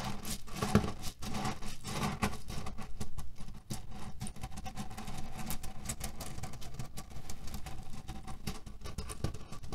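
Palms rub and fingernails scratch a cotton cushion filled with cherry pits. The pits shift with a steady, dense patter of small clicks and rustles, mostly low and muffled, that carries on without a break.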